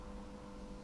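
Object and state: Nothing is struck.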